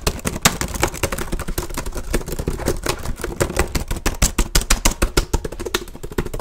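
One hand taps quickly on the keys of a black plastic HP laptop keyboard with its fingertips, beside a microphone that is not touched. The result is a dense run of short, dry plastic clicks with a heavy low thump, growing sharper and more distinct toward the end.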